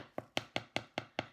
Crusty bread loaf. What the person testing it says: if it sounds hollow that means your bread's done cooking